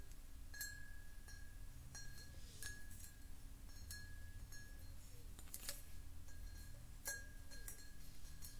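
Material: Glass.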